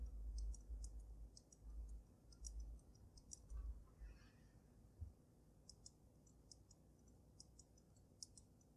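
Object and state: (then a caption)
Glass snow globe tapped. Fingertips and nails tap around the dome of a water-filled glass snow globe resting on a dragon-claw base. Quiet, irregular bright clicks and ticks sit over a soft low rumble, with duller thumps in the first four seconds that fade to a steady hush.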